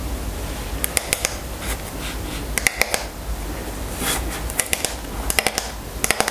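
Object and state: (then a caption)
Wooden hairbrush. Long nails tap and scratch the wooden back of a striped wooden paddle hairbrush held in hand. Clusters of sharp, bright clicks alternate with softer scraping swishes over a low, steady background hum.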